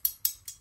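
The tang (nakago) of a 400-year-old steel wakizashi blade is struck four times, giving short, bright, high metallic ticks that resonate only slightly and die away quickly. The light ring rather than a hollow sound shows the tang is uncracked, so the blade is good and fit for cutting.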